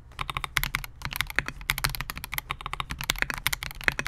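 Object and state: Mechanical keyboard typing.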